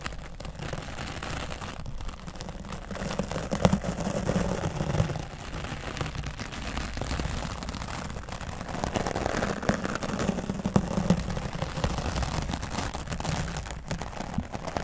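A round wooden-backed bristle brush sweeps over a grey foam microphone windscreen, making a dense, continuous scratchy rustle that sits heavy in the low end. The brushing swells louder in two long passes, one early and one later, then eases between them with no pause in the texture.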